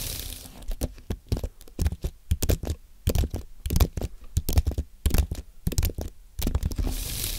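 Fingertips type on a compact white Apple keyboard made of aluminium and plastic. An irregular stream of short, dry key clicks with soft low thumps runs throughout, each dying away almost instantly, with faint bright hiss at the start and end.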